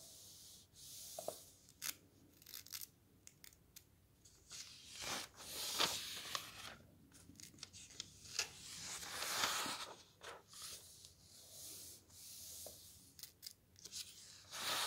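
Fingertips rub along and turn the thin paper pages of a thick softcover camping guide. Soft, bright papery rustles and slides rise and fade, broken by sharper flicks and crinkles as each page turns.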